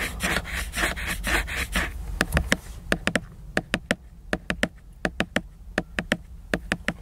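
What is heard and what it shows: Several fingernails scratch across the glossy laminated cover of a hardcover book lying flat and solid, making a dry, bright rasping rub for about two seconds. The nails then switch to sharp, crisp taps on the cover in quick little clusters, each click dying away almost instantly.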